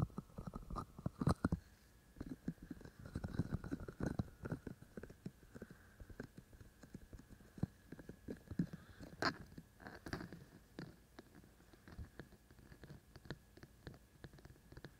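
Fingertips and short nails of both hands tap on the white silicone ears of a binaural microphone. Many quiet, dull, low thumps and light clicks come in an irregular stream, each fading almost instantly. A few sharper taps carry a faint bright tick.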